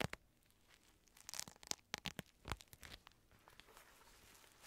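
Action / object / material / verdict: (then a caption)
tap / padded synthetic leather boxing glove / synthetic leather / none. Fingertips tap and scratch the outer shell of a black, padded synthetic leather boxing glove that is hollow inside and held close to the mic. The result is a series of sharp, bright taps mixed with dry scratching and crinkling against a quiet background, with a busier cluster of strikes in the middle.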